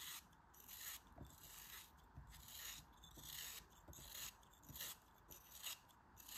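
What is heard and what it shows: A small faceted chunk of pink kinetic sand, held in the fingers, is shaved with a utility knife blade. Repeated gritty scraping strokes are heard, mostly bright and hissy with a soft low rumble, at an uneven rhythm.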